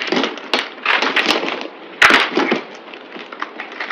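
A solid green speckled bar of soap, held in hand, is carved and scraped with a yellow-handled utility knife at double speed, and flakes break off. Dry, crisp scraping and crumbling crackles run throughout, with sharper snapping bursts near the half-second and two-second marks. The sound is bright, with no low rumble.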